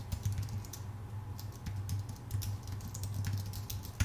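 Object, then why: Low-profile keyboard with aluminium base and plastic keys. Fingertips of both hands type rapidly on a full-size white Apple Magic Keyboard with numpad, a thin aluminium base with plastic keycaps resting on a dark desk. A quick, continuous patter of short, soft key taps, each with a bright click over a low thud, overlaps steadily with almost no ring and ends on one sharper tap.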